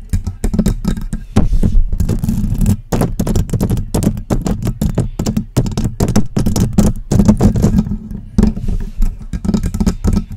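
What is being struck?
Metal USB microphone.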